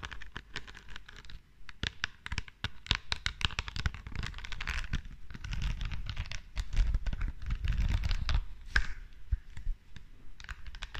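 Long dark nails tap and scratch across the green rhinestone face of a small, flat perfume bottle with a silver metal frame, held beside the microphone. The result is a dense, rapid run of short clicks and gritty scratching with a soft low rumble underneath, sometimes brighter and sharper on the stones.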